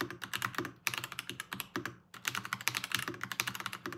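Continuous two-handed fingertip typing on a Varmilo VBS108 Chinese-style plastic-keycap mechanical keyboard with Kailh Ask Crane switches gives about thirty short, bright clacks. Each keystroke dies away almost at once, with a brief pause near the two-second mark before the rapid typing resumes.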